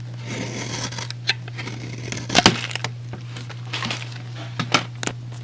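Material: Soap.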